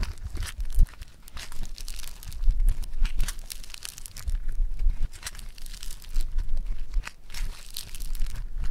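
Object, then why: Foam-bead clay. A ball of yellow foam-bead clay is pressed with the thumb, then pulled apart and crumpled. This gives a steady stream of bright, dense crackling and sizzling over soft, low squishing thumps throughout.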